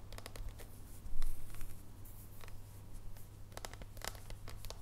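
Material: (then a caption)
Chocolate. Long nails tap and scratch across the squares of a solid dark chocolate bar held in both hands. Quick, crisp clicks and short scratching strokes sit over a steady low hum, with a louder burst of scratching just after the first second.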